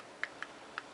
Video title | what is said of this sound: Polaris 400L (Everything I know about tuning and Re-Building the Carburetor) | if you tap on them you can hear a difference see how that one's a little bit got a little bit of a gap in it